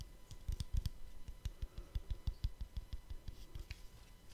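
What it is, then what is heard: Plastic lens cap. A small, round, hollow, shallow black plastic lens cap is held in one hand beside the microphone and tapped and scratched with the fingertips of the other hand. About twenty quick, uneven taps come out as soft, dull, low thumps with faint bright clicks and light scratching between them. Each tap dies away almost instantly.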